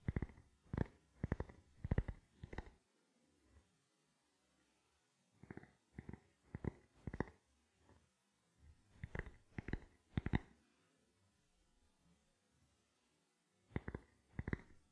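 A small, round, black, hollow plastic camera lens cap is cupped in one hand and tapped and scratched with the fingertips of the other hand. Quiet, dull, low tapping clicks come in short bursts, some slow and some quicker, separated by near-silent pauses and fainter scratchy rustles.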